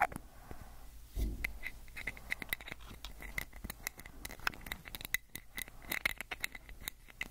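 Fingernails scratch and tap along a small amber plastic prescription pill bottle with a white cap and label, held in one hand close to the microphone. Quick, dry clicks and scratchy scrapes come in a rapid, uneven stream with a bright edge and almost no ring, over a faint low rumble.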